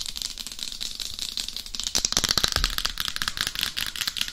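Long acrylic nail tips tap quickly across the face and crown of a head-sized, hollow, matte black hard-plastic dummy head microphone. The result is a rapid, dry, bright clicking with very little low end, each tap dying away almost instantly. The taps grow denser and louder about halfway through.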